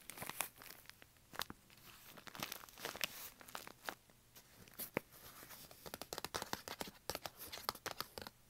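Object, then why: Kraft paper bag. Fingertips and nails scratch and rub the crinkly wall of a tall brown washable-style kraft paper bag with a rolled top, standing hollow and upright on carpet. Quick, dry crinkling and scraping bursts come in irregular flurries, bright and papery with almost no low end. Each sharp rustle stops dead with no ring.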